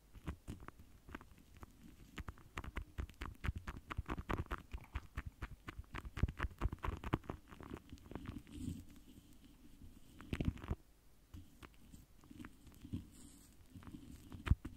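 The foam tip of a pink lip gloss wand rubs and taps across a large, rounded, hollow metal mesh microphone grille. It makes a quiet, rapid patter of soft, muffled thumps with a deep low boom, broken by brief scratchy brushing sounds. Each tap dies away almost at once.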